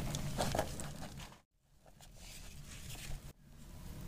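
A palm-sized, solid heart-shaped bar of dry soap, green and yellow with dark speckles, is held in the hand and cut into with a metal utility knife blade. Dense, gritty crunching and crackling with a low, rough body and bright crisp edges comes in passes separated by brief silences. The soap crushes and crumbles as it is cut.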